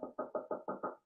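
Six hollow knuckle knocks on the wooden body of a vintage Les Paul solid-body electric guitar, just below the cutaway. Each knock is a short, woody, resonant thud centered in the midrange. The tone reveals a chambered cavity inside the body rather than solid wood.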